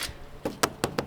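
Four short taps on a ram pump's water delivery pipe near its storage tank, a 330-gallon IBC tote in a cage, give dull, clipped knocks that die away almost instantly. The pipe is full of water at this spot, showing the water has reached the tank.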